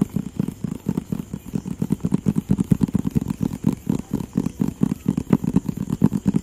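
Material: Cardboard.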